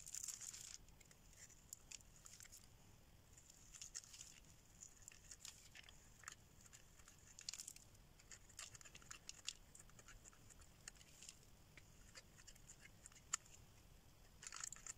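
A solid yellow oval bar of dry soap, held in the hand, is scraped with a metal blade, shedding fine crumbly shavings. Quiet, bright, dry scratching and crackling comes in irregular bursts, with sharper louder scrapes near the start, around 7–8 seconds and at the end. Each sound stops dead with no ringing.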